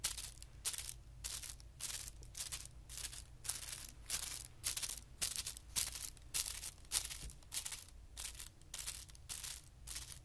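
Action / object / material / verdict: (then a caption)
scrape / thin tissue paper sheet / paper / none. Fingertips lightly scratch and rub across a flat, thin white tissue paper sheet lying on carpet. The result is quiet, bright, crisp rustling bursts that come in an uneven rhythm over a low, steady hum.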